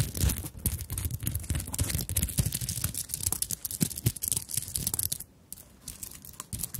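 Long nails rapidly tap and scratch across a small fabric handbag covered in sequins and beads. The result is a dense stream of crisp, dry clicks and rustling scrapes with bright highs, with a brief lull just past five seconds before the tapping resumes.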